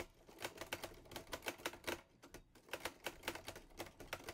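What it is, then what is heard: Metal portable typewriter. Fingertips type on the keys of a teal metal portable Olivetti Lettera 22 typewriter. A quick run of sharp, bright clacks with very short decay is heard, broken by a brief pause in the middle before the typing resumes at the same pace.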